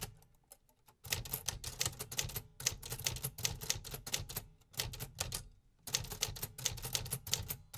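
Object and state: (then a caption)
Metal typewriter being typed on. Fingertips type continuously on the black keys of a beige painted metal 1950s Remington typewriter resting on a wooden table. After a few sparse taps, dense bursts of sharp, bright mechanical clacks with a low thump beneath run in quick succession, separated by brief pauses. Each strike cuts off almost instantly.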